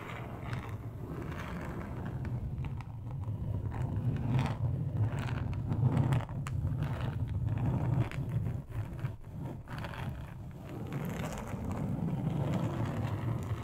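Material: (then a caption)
Plastic. Long acrylic nails on both hands scratch the textured surface of a large, flat, solid, thin grey plastic board. The result is a continuous dense, low rasping scrape with a rapid irregular scratching rhythm that swells and dips throughout.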